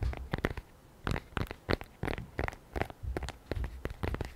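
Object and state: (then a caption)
Tablet in a folio case. Long nails and fingertips tap quickly on the panels of a lavender polyurethane/microfiber iPad folio cover with the tablet inside, held in both hands. The result is clusters of short, dull, low-heavy taps with crisp clicky edges, separated by brief quiet gaps.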